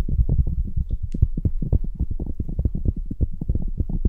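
Fingers with long nails rub and scratch the outer fur of red faux fur (synthetic-fur) earmuffs on a mannequin head. The result is a dense, muffled, low rumbling rustle of rapid, closely spaced strokes, with almost all energy at the bottom and no high-end crispness.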